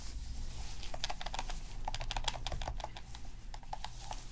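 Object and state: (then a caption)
Plastic game controller buttons. Gloved fingertips repeatedly press and click the plastic buttons and d-pad of a black, hollow plastic PS3 game controller resting on a dark mat. The result is a quick run of short, sharp, bright plastic clicks over a steady low rumble.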